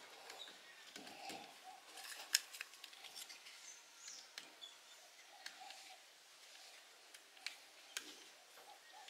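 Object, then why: Laundry soap bar scraped with a metal blade. A metal blade scrapes and slices chips off the edge of a partly carved, solid blue laundry soap bar held in the hands, with the shavings piling on the floor. The quiet, bright, dry scraping is broken by several sharp, short snaps as chips break away, each fading almost instantly.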